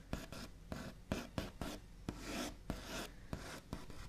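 The backs of the fingernails of both hands flick and tap on a large, solid wooden table top with a smooth white-painted finish. Ten short, sharp taps stand out, with soft, dry scratching and rubbing over the surface between them. Each tap dies away almost at once.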